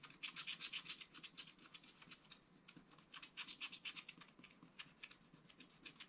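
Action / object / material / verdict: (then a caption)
scrape / wax-coated scratch art paper card scratched with a wooden stylus / coated paper / none. A wooden stylus scratches fur lines into a rabbit figure on a flat, black-coated scratch art card. Quiet, rapid, bright scraping strokes repeat about four times per second, unevenly, with most energy high and centered near 3 kHz. Each stroke stops dry with almost no low end.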